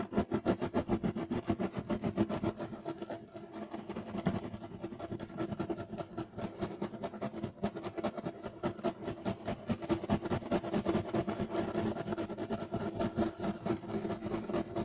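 Rapid scratching with the short nails of both hands on a flat, solid, beige striped woven loop-pile carpet. The result is a dense, fast, uneven run of dry scratching strokes with a low-mid body. It stays fairly steady with a brief softer dip partway through.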